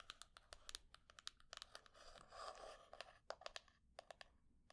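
Long painted nails tap and scratch a small hollow wooden box with a small metal plate on one side, held in the hands. Quick, dry, bright clicks come in irregular bursts, broken in the middle by about a second of steady, rasping scratching. Each tap is short with almost no ring.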